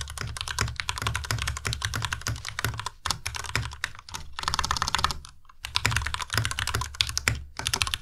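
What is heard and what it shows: Two hands type steadily with their fingertips on a white Ducky Miya Pro tenkeyless mechanical keyboard with plastic keycaps and linear switches. The result is a fast, continuous stream of short, bright clacks over a low thock. Brief pauses come around 3, 4, 5.5 and 7.5 seconds.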